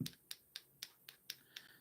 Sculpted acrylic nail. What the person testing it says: you know this is set when you tap on it